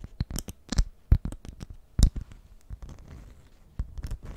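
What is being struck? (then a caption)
Beeswax-coated cloth wrap. A honeycomb-print beeswax cloth food wrap held in the hands is scratched and tapped with long nails. Quick crinkly scratches and soft, dull taps come in irregular bursts, some with brief bright edges. The texture stays close and dry, with little ring after each touch.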